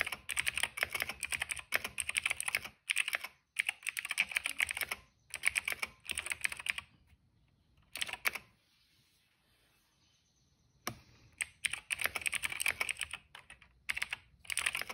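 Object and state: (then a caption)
Plastic mechanical keyboard, hollow case. Fingertips of both hands type on a cream plastic mechanical keyboard with a hollow case and black, purple and yellow keycaps. Rapid bursts of bright, crisp key clicks come in several runs, with a quiet pause in the middle broken by a brief cluster of taps. Each click is short and dry with almost no low end.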